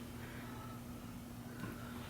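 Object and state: Nothing is struck.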